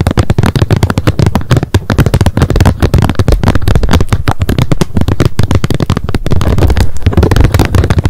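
Long nails tap rapidly on the hard plastic lid of a wet wipes pack lying flat on a mat. The result is a fast, continuous stream of short, dry clicks with a heavy low thump and very little ring.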